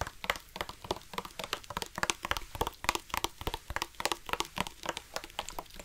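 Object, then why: Plastic drinking bottle. A black plastic drinking bottle with a yellow-trimmed cap, hollow and holding some water, is handled and tapped with the fingertips and nails. Quick, irregular taps and clicks come about three to four per second, each dry with almost no ring. They have a hollow body near 1 kHz and bright nail clicks on top.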